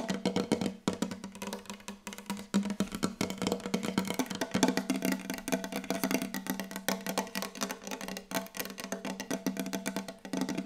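Very fast, aggressive tapping on a wooden table, with no talking. Dense, rapid, dry wooden knocks run continuously with short decay and a steady tone around 200–260 Hz.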